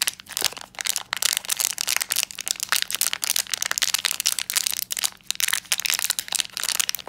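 A small black metallized plastic foil blind bag with a pin inside is held in both hands while fingertips crinkle and crush the foil. The result is a dense, bright, continuous crackling and crunching with sharp, quickly fading snaps over a faint steady low hum.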